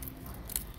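A golden, freshly fried potato chip is snapped in half, giving a short, sharp, crisp crack with a bright burst of high-frequency crunch over a faint low background hum. The chip is very crispy.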